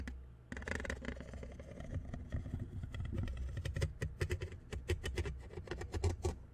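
Metal tweezers held by hand scratch and tap along the side of the black metal mesh grille on a condenser microphone with a hollow head. The result is a deep, rumbling, close-up scraping, broken by a rapid run of short, crisp metallic clicks and taps that grows denser toward the end.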